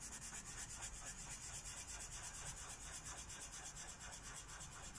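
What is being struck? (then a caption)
Felt-tip marker on a paper page. A purple Sharpie felt-tip marker rubs back and forth across a thin white coloring book page resting on a wooden table, filling in a petal. It makes a continuous, bright, scratchy rubbing with a soft rhythmic pulse of about two strokes per second over a faint low hum.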